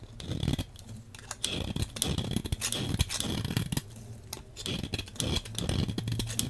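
A hand-sized, solid dark brown-black bar of soap is scraped with a metal blade into crumbly flakes. Repeated short, dry scraping strokes give a rough, crackly texture with bright, crisp edges over a low, soft rumble. Flakes break away from the bar with each pass.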